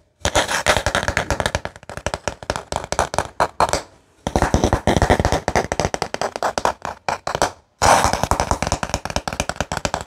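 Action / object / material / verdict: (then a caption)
tap / wooden paddle hairbrush / wood / none. Fingertips and nails rapidly tap and scratch the flat back of a light, solid-wood paddle hairbrush with wooden pins, held in one hand. The result is a dense run of crisp, dry, woody clicks and scrapes with a bright edge, in three bursts broken by brief silences. Each tap dies away quickly, with a faint hollow tone near 920 Hz.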